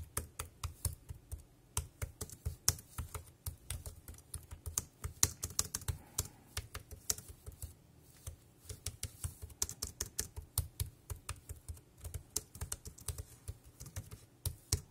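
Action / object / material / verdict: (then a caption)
tap / plastic keyboard keys / plastic / none. Fingertips tap the round keys of a dark grey plastic wireless keyboard in continuous typing. Each keystroke is a short, dry tap with a low thump and a bright click that dies away almost instantly, forming an uneven stream with a brief pause midway.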